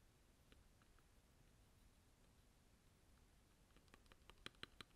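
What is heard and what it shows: A gloved hand presses the keys of a Varmilo Muse65, a 65% mechanical keyboard with a blue aluminum case and plastic keycaps, using its fingertips. Faint, sparse clicks sit over a quiet, steady hiss, then a quicker run of sharper, brighter key clacks builds toward the end.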